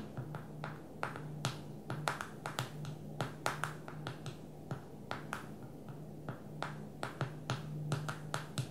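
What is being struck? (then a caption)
Smartphone glass touchscreen. Long nails and fingertips tap the glass touchscreen of a small black smartphone lying flat on a table. A quick series of sharp, bright clicks and softer taps ring briefly over a low steady hum in the background.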